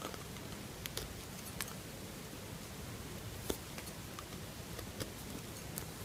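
A metal knife carves a solid lilac bar soap in scraping cuts. Soft, quiet scraping over a steady low hum is broken by several short, sharp clicks that flash up into bright high tones and die away almost instantly.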